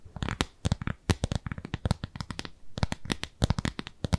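A round, pale pink, textured silicone cleansing pad, solid and palm-sized, is held upright and scratched with long nails. Quick, crisp scratching strokes come in uneven bursts, each with a dull, low thud under a short bright rasp. The sound stops dead between strokes.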